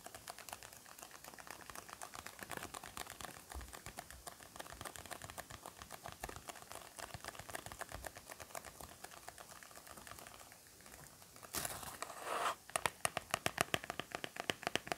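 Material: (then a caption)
Cardboard. A small, rectangular, purple printed cardboard box, which appears hollow and closed, is held in both hands close to the microphone and tapped and scratched with fingertips and short nails. Rapid, quiet, dry ticking taps with a light hiss run throughout. Near the end, a brief burst of brighter scratching gives way to louder, crisper taps.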